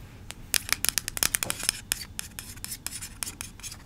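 A small yellow plastic Play-Doh tub with a green plastic lid is held close to the mic and tapped and scratched on its sides and lid with long acrylic nails. About twenty sharp, bright, dry clicks ring out with scratchy rustling in between, each tap cutting off instantly with no ring.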